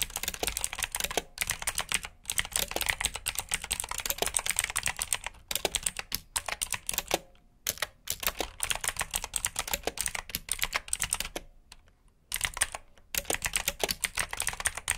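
Fingertips type steadily on the clicky blue-switch keys of a black plastic RGB mechanical keyboard. The sound is a dense run of sharp, bright clicks, broken by a few short pauses. Each keystroke is crisp and dies away almost at once.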